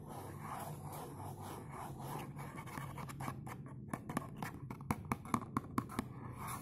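Fingernails scratch the front surface of a dark blue textured cardboard perfume box. A steady, dry scratching over a low hum gives way in the last few seconds to sharper, quick scrapes and clicks that stop short with no ring.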